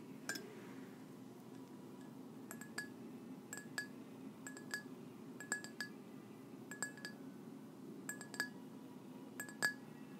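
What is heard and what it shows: A white ceramic mug with gold polka dots, hollow and empty-looking, is held up and tapped with long nails. Crisp clinks land in quick pairs and small clusters with pauses between them, each a bright tick carrying a short ring near 1.7 kHz that dies away almost at once. A soft, steady low hiss sits underneath throughout.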